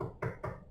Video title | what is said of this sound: How to install any cabinet DIY - Mount Shaker style cabinets by yourself | when you start hitting the sound like this that's solid that means that it's a board sitting right behind the wall